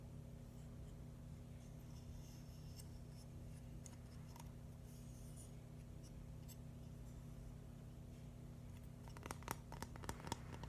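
A flat, hand-sized red and white mushroom mosaic built from plastic LEGO bricks is tapped and scratched with fingernails. Soft, faint scratching sits over a steady low hum for most of the clip. A cluster of sharp, bright, short taps comes near the end.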